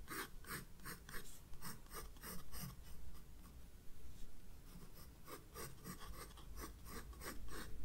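A graphite pencil shades a vase drawing with light strokes on the white paper of a spiral-bound sketchbook page. A steady series of soft, bright, scratchy strokes rasps back and forth over a low background hum.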